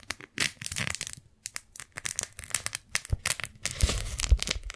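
Fingers unfold, peel open and stretch flat a pink strawberry-print beeswax-coated cotton food wrap. It gives a quick run of dry, bright crinkles and sticky crackling peels with soft low thumps underneath. There is a brief lull before the rustling builds to a denser stretch near the end.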